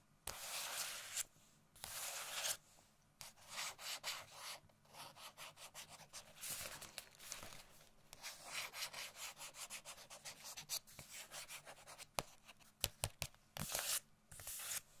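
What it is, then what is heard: Paper gift bag scratched. Long nails and fingertips scratch and rub the front of a medium-sized printed paper Christmas gift bag that has items inside. The result is bursts of dry, bright, papery scratching separated by brief pauses, ending in a few sharper taps.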